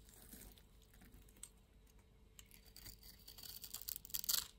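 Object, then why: Bar of soap shaved with a knife blade. A solid orange-and-white striped soap bar, held in the palm, is scraped and shaved with a yellow-handled utility knife blade. Quiet, bright, crisp scraping and crackling strokes start softly, then build into denser, louder shaving toward the end, with almost no low end.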